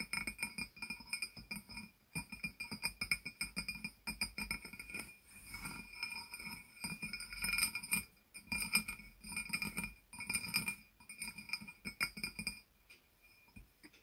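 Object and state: Glazed ceramic jar.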